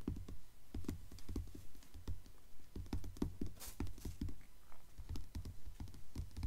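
Long nails tap rapidly on the glossy paper dust jacket of a blue Mockingjay hardcover book lying flat on a table. The result is a quick, uneven patter of soft, dull thuds with heavy low-end weight and almost no ring after each tap.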